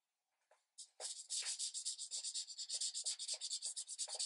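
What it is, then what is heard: Marker coloring on thin paper. A green marker tip is rubbed firmly in repeated strokes across a thin paper coloring page resting on a light pad. After a couple of faint opening touches, a steady run of bright, hissy scratching follows, pulsing about twice a second with each stroke.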